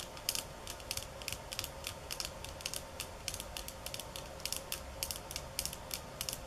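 Long nails scratch and tap the thin slats of a bamboo slat mat, producing about thirty sharp, bright clicks in an uneven, rapid rhythm. Each tap dies away almost at once over a quiet, steady background.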